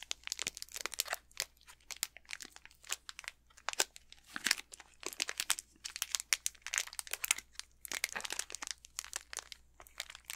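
Fingertips crinkle and squeeze the plastic wrapper of an unopened Snickers candy bar held in both hands. Dense, bright crinkling crackles come in quick irregular bursts with sharp peaks and almost no low end. The crinkling continues steadily for about ten seconds.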